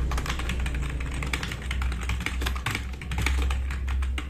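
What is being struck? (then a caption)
Plastic mechanical keyboard. Both hands type fast with their fingertips on a compact RGB-backlit mechanical keyboard with black plastic keycaps, resting on a wooden desk. The result is a dense, continuous stream of clicky, clacking keystrokes with bright attacks, over a steady low hum.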